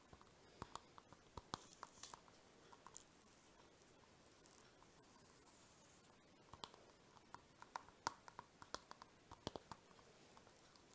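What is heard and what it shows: A small, flat, translucent orange-pink plastic zip pouch, hollow and mostly empty, is held in the hands while fingertips and nails tap and rub its surface. Quiet, crisp clicks come in irregular bursts, and soft, bright crinkly scratching fills the gaps between them. Each tap is dry and stops at once, with no ring.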